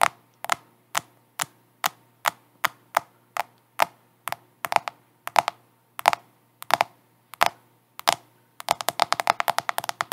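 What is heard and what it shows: Long acrylic nails tap and scratch the glass screen and plastic case of a black handheld smartphone held upright in both hands. Sharp, dry clicks with a mid-pitched knock and a bright edge come at a steady pace, each stopping dead with no ring, then speed up into a rapid flurry of taps near the end.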